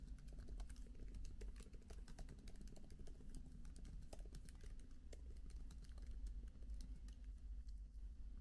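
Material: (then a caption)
Plastic. Both hands type with their fingertips on the plastic keys of a MacBook laptop keyboard with an aluminium body, seen from the side. The result is a steady run of quiet, short, bright key clicks over a constant low rumble.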